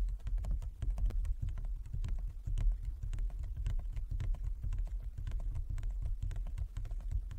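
A large, flat inlaid wooden chess board is tapped rapidly by the fingertips and long nails of both hands. The result is a dense, irregular patter of short, dry knocks with low, hollow thuds underneath and bright, clicky nail ticks on top, each dying away almost instantly.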